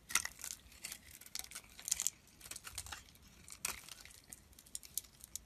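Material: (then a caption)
Soap. A hand-held solid white bar of soap is carved and scraped with a snap-off utility-knife blade, curling shavings peeling away. Dry, crisp scraping and crackling strokes come in short, irregular bursts, bright and hissy with almost no low end, at a quiet level.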